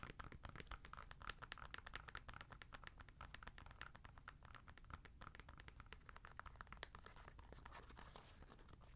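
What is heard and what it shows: Long nails rapidly scratch and tap the knit upper of an empty white-grey Adidas NMD R1 sneaker with a foam sole, held in the hand. A dense run of short, dry, crackly clicks and scratches continues steadily over a low background rumble.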